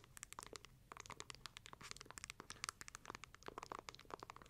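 A palm-sized, closed book-shaped lamp with light wood covers is held near a fluffy microphone while long nails tap and scratch its wooden cover. A rapid, irregular stream of dry, bright clicks and scratchy crinkles is heard, each tap short with no ringing.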